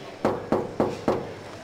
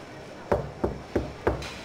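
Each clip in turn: First: Four even knuckle knocks, mid-pitched and brief, on a car's steel body panel, sounding like bare metal. Second: Four dead, dull knocks with almost no ring: a car body section patched with filler, not bare steel.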